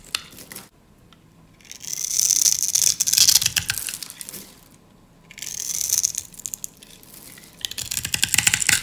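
A utility knife scores a grid into a solid, hand-sized dry green soap bar held in the hand and scrapes off crunchy slivers. Three bursts of bright, crackly scraping rise out of near-silence, each a dense stream of small sharp crunches with almost no low end or ring.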